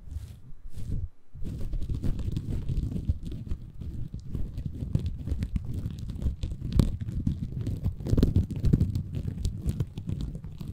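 A small, green, porous bamboo fiber sponge, soft and compressible, is held in both hands above a Tascam recorder while fingertips scratch and squeeze it. The result is a dense, muffled, low crackling and rustling texture of rapid tiny scrapes and crunches, with a brief pause near the start.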